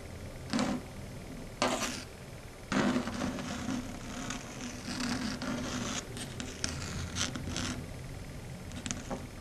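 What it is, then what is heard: Chalkboard scraped with long nails. Long red stiletto nails scrape along a flat matte dark grey chalkboard. Irregular rasping strokes come through, several sharp bright bursts standing out from a steady low hum and softer scratching in between.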